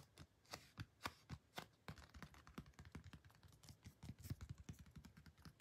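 Long painted nails tap and scratch the surface and edges of a thin, flat, glossy cardboard printed photo card held in the hands. A fast, uneven run of short, dry clicks with soft scratchy brushing between them, each tap thudding low with a brief bright edge and dying away almost instantly.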